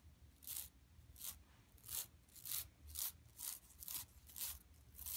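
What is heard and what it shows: Long nails scratch across a large, flat, yellow woven plastic mesh shopping tote lying empty on carpet, with hands near its bottom edge at the end. Nine bright, rasping strokes come at a loose, uneven pace, each a short, high scrape that cuts off quickly over a faint low rumble.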